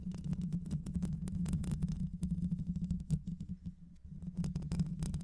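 Long nails scratch over the mesh grille of a black hollow microphone with both hands, the grille likely metal. The result is a dense, rapid, boomy scratching and rumbling, mostly low, with a steady low hum under it and bright crackling flicks on top. There is a brief quieter lull just before the four-second mark before the scratching picks back up.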